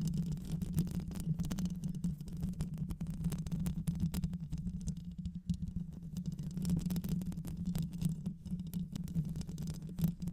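Long white acrylic nails on both hands scratch the rounded metal mesh grille of a black microphone with a hollow head. The result is a dense, continuous scraping rumble, heavy in the low end with a steady droning tone near 164 Hz, that flickers with rapid scratch textures for the full ten seconds.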